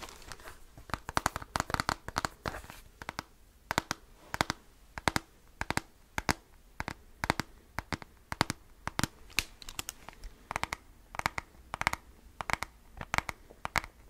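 Fingertips and nails tap and scratch the top and keys of a handheld black plastic graphing calculator with a hollow casing. The result is a rapid, irregular run of sharp, dry clicks that die away instantly. Faint scratchy rustling fills the gaps, and the sound is brightest in the upper range with little low end.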